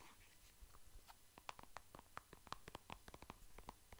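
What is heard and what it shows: Fingertips and nails tap and scratch a soft plastic squeeze tube of cream, light green and white. The result is a quiet, quick series of short, dry clicky taps with a hollow tone around 1 kHz, mixed with faint scratching.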